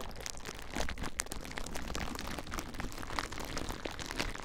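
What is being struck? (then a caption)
Plastic bubble wrap. Clear plastic bubble wrap bundled around a recorder is squeezed by fingertips, popping the bubbles. A dense, continuous crinkle comes through with many short, sharp crackles and pops over a low rumble, with no ringing after each snap.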